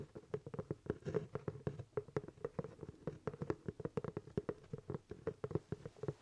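Fingertips tap and scratch the crown of a hollow, empty black leather top hat held in both hands. A quick, uneven run of soft, dull taps, each dying almost at once, carries a hollow, boxy resonance in the low mids, with faint scratchy texture between them.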